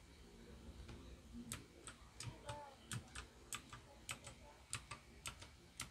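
A small white Royal Kludge RK61 RGB wireless 60% mechanical keyboard with plastic keycaps and RGB lighting sits on a desk while both hands type on the keys with fingertips. Around fifteen sharp, bright plastic key clicks with short, low thocks ring out unevenly over a quiet, low background hum, each click dying away almost instantly.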